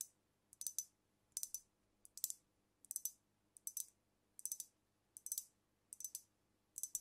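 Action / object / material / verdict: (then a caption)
tap / filled glass liquor bottle / glass / none. Long nails tap rapidly on the glass body and neck of a filled glass cognac bottle held over the mic, moving toward the capped neck by the end. Bright, dry clicks come in quick clustered bursts with short gaps between them, with almost no low end and no ringing after each tap.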